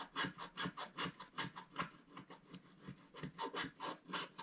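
A thin wooden stylus held in the fingertips scratches short strokes across a flat scratch-art page, a black wax coating on colored paper lying on a table, leaving scraped black flakes around it. About eighteen dry, raspy scrapes come in an uneven rhythm, each a brief bright hiss, with a softer, quieter stretch in the middle.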